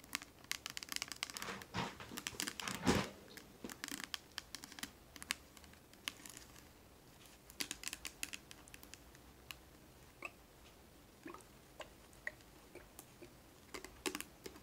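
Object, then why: Small plastic bottle of oil. A small clear plastic Johnson's baby oil bottle with a white cap, filled with oil and held in the hand, is tapped and scratched along its sides by long decorated nails. Quiet, crinkly plastic clicks and scrapes come in dense bursts for the first few seconds, then thin out into sparse, bright taps with short ringing.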